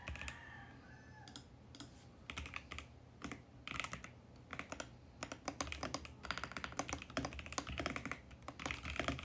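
Fingertips type continuously on a compact VGN X68 mechanical keyboard with purple, pink and mint plastic keycaps on a mint case. Quick, clacky keystrokes come in an irregular stream, sparse at first and then denser and louder toward the end, each with a bright, short click over a low thock.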